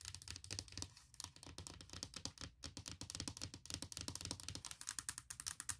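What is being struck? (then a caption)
Aluminum laptop lid. Long nails tap and scratch across the large, hollow aluminum lid of a closed MacBook Pro near its edge. The result is a rapid stream of sharp, bright clicks with short dry scrapes, over a soft low thump, each tap dying away almost at once.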